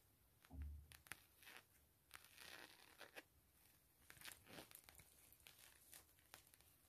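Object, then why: Thin coated canvas zip wallet. Long acrylic nails and fingertips tap and scratch the face of a thin, empty, flat camo/map-print coated canvas zip wallet with a metal zipper, resting on bubble foil. The result is a quiet run of sharp, short clicks and scratchy, crinkly swipes with bright hiss and a dull low thump near the start.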